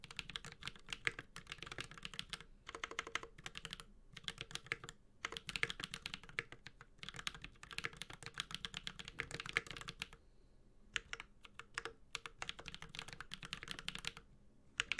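Steady two-handed fingertip typing on a Space65 Cybervoyager 65% mechanical keyboard with a white-gold aluminum case, carbon fiber plate, plastic keycaps and Holy Panda tactile switches. Dense, bright, short clacks run in bursts with brief pauses, including a longer gap around ten seconds.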